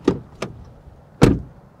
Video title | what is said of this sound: 2021 RAM TRX Review - A 702-HP Raptor Killer | Bruit de porte ouverte et fermée de l'extérieur